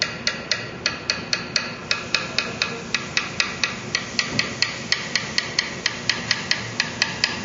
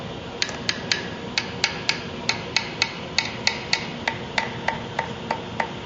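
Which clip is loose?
The second.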